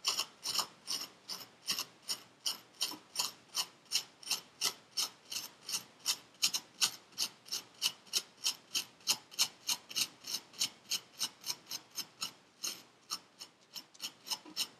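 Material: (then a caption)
Sand. A metal needle tool repeatedly scratches through purple kinetic sand packed into a paper cup. About 47 short, dry, bright scrapes come in a steady run of roughly three per second, each fading almost instantly.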